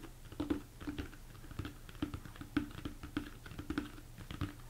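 Fingertips and nails tap quickly across the top and sides of a large, hollow, empty plastic mixing bowl turned upside down. The result is a rapid, uneven patter of soft, dull knocks, each with a brief hollow tone around 300 Hz that dies away almost at once.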